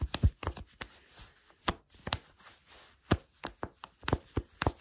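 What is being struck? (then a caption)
Cotton fleece sweatpants. Fingertips with short nails scratch black cotton fleece sweatpants with a gathered elastic waistband, worn on the body. About fourteen quick, dry scratches and soft taps come in uneven bursts, each dying away almost instantly. The strokes are mostly low and muffled, with faint brighter fabric rasping between them.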